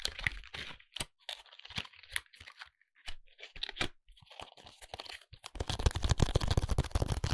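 Fingertips tap and scratch the front and edges of a small, flat, printed cardboard contact lens box held in the hand. Quick dry crunchy taps and scrapes come in an uneven patter, turning into a denser, louder stretch of rapid scratching near the end.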